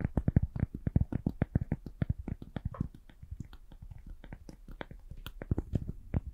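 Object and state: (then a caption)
Cork being tapped. A piece of cork is tapped gently in a quick, steady series of short, dull taps. Each tap is low and muffled with almost no ring. The tapping is louder at the start and end and softer through the middle.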